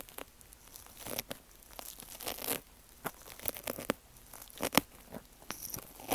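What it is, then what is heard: Foam kitchen sponge. Metal tweezers poke and scratch into the cut slit of a soft, porous, solid pink wavy foam kitchen sponge with a green scrub backing, cut to look like an ear and lying on a rattan mat while fingertips hold it. Irregular, quiet crackling and tearing-like scrapes come in short bright bursts over a faint background hiss, with no ring after each scrape.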